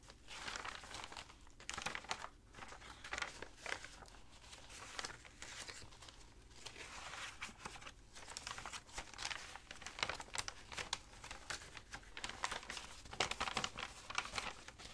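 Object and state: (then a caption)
Crinkled dry paper sheets. Fingers with long dark nails lift and turn over thin, dry pages in a loose stack of tea-stained, crinkled paper sheets lying flat. A continuous dry crinkling and rustling follows, bright and papery with frequent sharp crackles and little low end.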